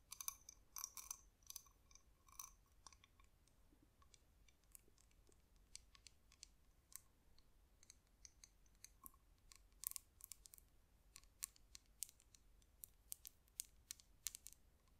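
A spotted cowrie seashell is held in both hands and tapped and scratched with long nails across its glossy surface and toothed opening. The result is a quiet, steady stream of sharp, bright clicks and dry scratches with almost no ring, denser at the start and then scattered.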